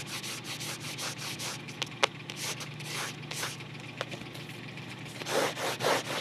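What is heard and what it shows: A closed cardboard photo album is turned to show its spine and then its back cover while fingertips rub and scratch along the paper-covered cardboard spine. Steady, hissy rubbing strokes repeat at a loose rhythm, broken by a few sharp ticks. Louder, coarser scratches come at the end.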